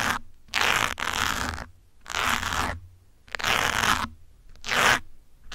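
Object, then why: Foam microphone windscreen scratched with metal pins. Metal pins scratch and poke a grey foam windscreen on a black microphone. Each pass makes a burst of dry, bright, crunchy scratching lasting under a second. The bursts come back again and again with near-silent gaps between them.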